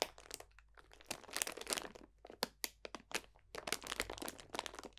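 A clear cellophane bag full of dried potpourri botanicals is pressed and crunched with the fingertips. Quiet, bright, dry crinkles and crackles come in irregular bursts and clusters, each snapping off almost at once with no ring.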